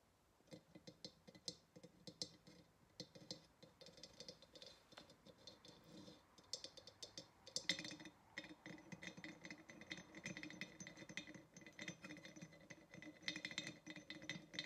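Long fingernails tap rapidly across the neck and shoulders of a large, hollow, empty-looking terracotta or ceramic vase with small metal ring handles, standing on a table. The result is a dense stream of quiet, bright, clicky taps that die away almost instantly, with faint hollow tones underneath and a light rattle that may come from the handles.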